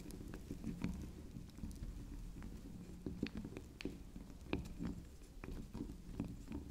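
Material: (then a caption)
Soap. A small, solid cylindrical bar of soft pink soap shaped like a swirl candy is tapped and scratched on its spiral top with long pink acrylic nail tips. Quick, soft, dull taps and light scratching patter along over a steady low rumble, each tap dying away almost at once, with faint bright clicks on the sharper strikes.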